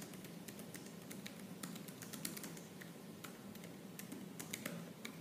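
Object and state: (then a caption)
Laptop plastic keyboard. Fingertips with purple nails type fast on the black plastic keys of a silver laptop. A rapid, uneven stream of sharp, bright clicks comes through, each one dying away almost at once. A steady low hum sits beneath the quiet, continuous clatter.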